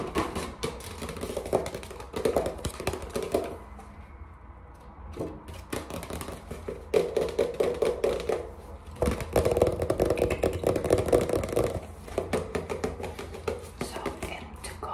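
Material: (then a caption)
Paper. Fingertips and short nails tap quickly on the glossy front cover of a small watercolor paper pad with a solid paper stack, held in both hands. The result is rapid, irregular bursts of dull, papery taps with a warm midrange body and short decay, easing into a quieter patch around 4–5 seconds before the tapping picks back up.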